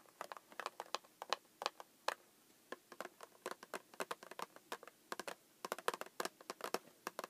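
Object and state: Cardboard snack box.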